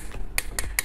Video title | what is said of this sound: 1 REEL 2 MAIN GEAR? BISA ATUR GEAR RATIO? KITA BONGKAR T-POWER SPINNING REEL by SABPOLO INI ! | bahan graphite ini sangat tebel banget nih padat ya bisa didengarnya dari suara ketokan eh kalau bahan graphite yang abal-abal masih suaranya gak bakal padat seperti ini